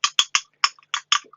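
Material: Plastic.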